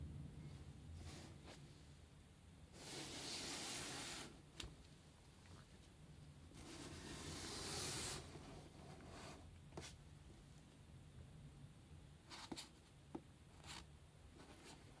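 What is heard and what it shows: Yellow rubber-gloved fingertips handle and tap a closed, hollow, medium corrugated cardboard shipping box with a paper shipping label and packing tape, working along its sides and edges. Two long, bright, scratchy rubbing swells alternate with about seven short, dry taps that die away almost instantly, over a faint, steady low hum.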